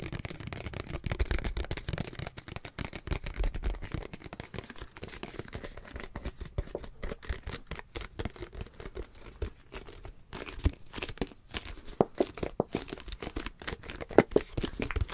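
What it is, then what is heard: Plastic squeeze tube. A hollow, hand-sized white plastic face-wash squeeze tube is scratched and crinkled with nails and fingertips. It gives a steady run of dense, dry crackles and scratchy rustles with a soft, low-bodied tone, and a few sharper crisp snaps stand out toward the end.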